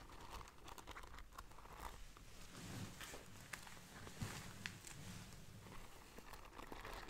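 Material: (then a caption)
Beads, cloth. Long dark nails scratch and rub the gold bead embroidery on a soft, hollow black cloth tote bag held up by its handle. The result is a quiet, steady crinkling, crunchy scratching over a low rumble, with a few brighter clicks standing out.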